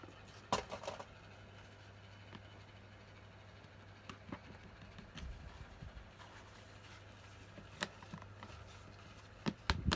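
A red and yellow hard plastic Mickey Mouse toy case, about lunchbox size, hollow and closed, is held in both hands while long painted nails and fingertips tap and knock on its front surface. Sparse, sharp clicks and hollow knocks die away almost instantly, separated by quiet stretches over a faint low hum, with a small cluster of taps near the end.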